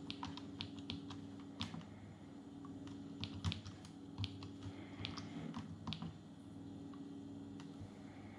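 Fingertips type on the plastic keys of a small grey Atari Portfolio palmtop computer resting on a wooden table, producing rapid, short, bright key clicks. A steady low hum runs underneath throughout.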